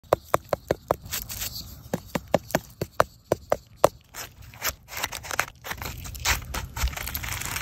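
A solid, firm Liver Bolete (Suillellus amygdalinus) mushroom, found upturned by an animal, is tapped before being sliced, giving about fourteen short, dry, separate taps with a muted mid-range knock and no ring. The taps give way to softer, irregular scraping and rustling against a low background hiss.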